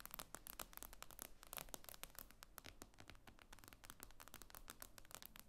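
Long nails tap rapidly on the glass screen of an iPad lying flat. The result is a quick, dense run of sharp, bright clicks that die away almost instantly, over a steady low hum.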